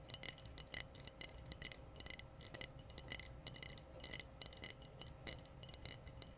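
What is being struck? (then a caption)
Glass bottle. Glass bottles are tapped in a quick, steady rhythm, giving bright, short clinks that die away almost at once. A soft low rumble and a faint steady hum sit underneath the taps.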